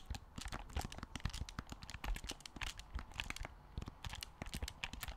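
Fingertips rapidly tap the shell and press the buttons of a black plastic Wii U gamepad, a handheld game controller with a glass-covered screen, held in both hands. The result is a quick, irregular run of short, dry clicks and taps with soft low thumps underneath, each stopping almost instantly.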